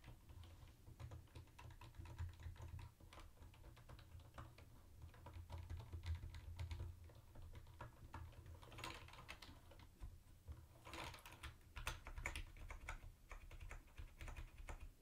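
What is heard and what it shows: Fingertips type on a mint-green plastic typewriter-style keyboard with round white plastic keycaps and a hollow body. A continuous run of quick, light clicking keystrokes comes in uneven bursts, with brief pauses, over a steady low hum.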